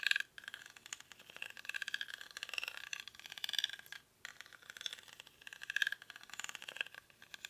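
Short fingernails scratch across the woven surface of a small, hollow rattan or reed basket held close in both hands. The result is a dense, bright, crackly scraping rattle with almost no low end, coming in uneven bursts with brief pauses near the start and middle.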